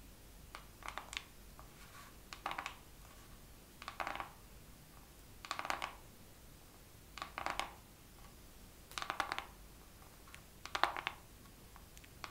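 Fingernails tap slowly on a makeup palette in this second round of tapping. Seven short bursts of quick, light clicks come at an unhurried pace, each with a hollow, plasticky tone around 800 Hz, a bright edge, and almost no ring. Quiet background hiss fills the gaps between bursts.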